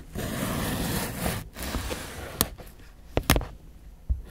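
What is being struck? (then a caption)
Cucumber sliced with a steel knife on a plastic cutting board. A solid green fresh cucumber, held by the fingertips, is sliced with a steel kitchen knife on a white plastic board. A steady rough scraping rubs along for about a second and a half. After a break, sharp crisp chops follow, three of them standing out clearly, each with a quick bright snap and a low thud on the board.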